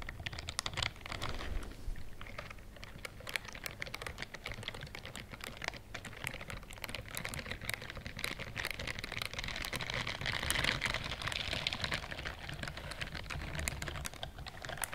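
Long nails and fingertips scratch and rub the rows of bristles on a pink-white silicone dishwashing glove. The result is a quiet, dense, irregular patter of bright crackling clicks and scratches over a soft low rumble. The scratching grows slightly fuller and louder around the middle before easing off.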